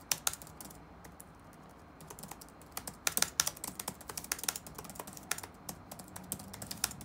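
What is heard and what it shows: Fingertips type rapid taps on the black plastic keys of an open laptop resting on a wooden desk. About two dozen crisp, bright clicks die away almost instantly, with a brief lull near the start before the typing picks up again in quick, uneven bursts.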